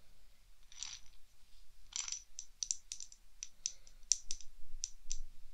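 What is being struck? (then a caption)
Corked glass tube with small beads inside. A small clear glass test tube, corked and partly filled with green beads, is held in both hands and shaken and tilted so the beads rattle inside. Two soft, hissy swishes of sliding beads come first, then a quick run of sharp, bright clicks and ticks as the beads strike the glass, each dying away almost instantly.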